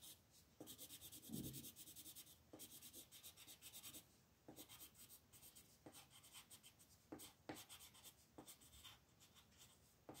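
A brown-red colored pencil shades tree branches on a flat paper coloring book page with rubbing strokes. The result is a quiet, bright, scratchy texture of repeated strokes, with brief pauses between bursts.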